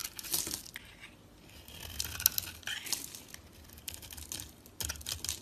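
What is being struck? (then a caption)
Bar of soap shaved with a blade. A box-cutter blade scrapes and shaves a solid oval bar of dry soap, painted black with blue streaks and held in the fingers, curling off creamy flakes. The sound is a dry, crisp, bright crackling and scratching made of many short strokes with almost no ring. It comes in bursts with quieter gaps between them.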